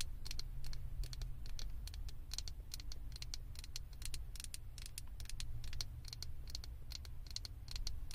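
Long acrylic nails on both hands tap and scratch a small hollow blue plastic/vinyl Stitch figure head fitted on top of a microphone. Rapid, dense, bright clicks and scratchy ticks overlap continuously over a steady low rumble, each tap dying away almost instantly.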